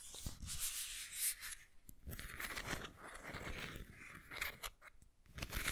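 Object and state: Ceramic pineapple figurine scratched.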